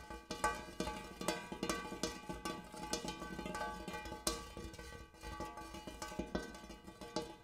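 A large, empty, hammered brass-colored metal bowl is tapped and scratched inside with the fingernails of both hands. Quick, bright metallic taps with short rings stand out over a steady low hum.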